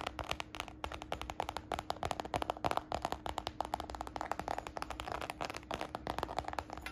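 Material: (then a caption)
Faux leather. Long nails scratch and fingertips tap rapidly across the side panel of a small, hollow red faux-croc patent leather handbag with a glossy croc-embossed finish. Dozens of short, dry, clicky taps ring off almost instantly, mixed with soft scratching, over a faint steady low hum.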